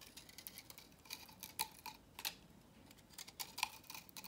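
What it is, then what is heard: Dry soap bar being cut. A utility knife blade carves strips from the edge of a solid, dry, salmon-orange vintage soap bar held in the hand, sending flakes scattering. Quiet, bright, crisp scraping cuts come in irregular bursts with very short, dry attacks and almost no low end.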